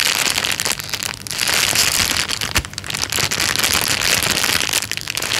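A thin, clear plastic bag lying flat on a couch is pressed, tapped and rubbed with the fingertips. It makes a dense, bright crinkling and rustling that runs almost continuously, with only brief dips between bursts.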